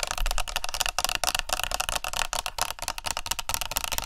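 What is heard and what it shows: Fast tapping with long nails along the body and cap of a plastic body mist spray bottle held sideways close to the mics. It makes a rapid run of sharp, bright clicks that die away almost at once, with a low rumbling undertone.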